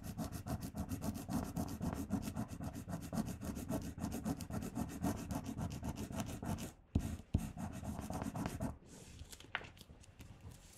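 Fingertips and nails rub and burnish a paper "LOVE" sticker onto a flat pink paper sheet while the other hand holds the paper down. Rapid, steady scratchy rubbing strokes repeat for nearly seven seconds, followed by two sharp taps and a shorter burst of rubbing. The sound then drops to a faint, quiet rustle with one brief bright tick.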